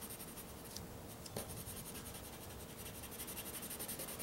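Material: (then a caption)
Paper. A white pencil shades and scratches across black drawing paper resting on a flat board, making short, repeated strokes. The result is a quiet, steady scratchy rasp with a bright hiss, soft low rumble, and a faint tick near the middle.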